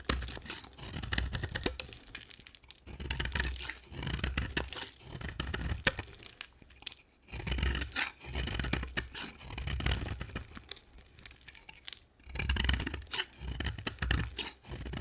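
A dry, solid cream soap bar held in the hand is shaved with a utility knife blade, and curls pile up beside it. Repeated strokes of crisp, crackly scraping and tearing come in bursts of one to two seconds, separated by short quiet gaps, with bright, fine grit over a soft low rumble.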